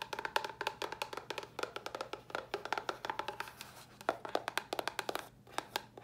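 Long nails tap rapidly on a small, hollow white cardboard box, producing dozens of short, dry clicks with a hollow ring around 880 Hz. Each tap dies away almost instantly, with some bright, crisp edges and very little low end.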